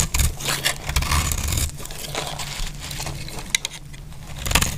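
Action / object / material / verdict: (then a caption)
scrape / bar of soap scraped with a metal blade / soap / none. A metal utility blade shaves and scrapes flakes off a solid bar of dry green soap held in the hand. Dry, crackly scraping strokes come in bright bursts over a steady low rumble, with a few sharp ticks near the end.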